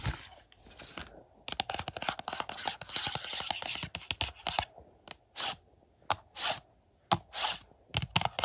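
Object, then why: Glossy cardboard slipcover on a plastic disc case. Fingernails scratch the glossy cardboard slipcover of a collector's edition Blu-ray of The Howling lying on carpet. A dense run of bright, dry scratching rasps comes first, then short separate scrape strokes with quiet gaps between them.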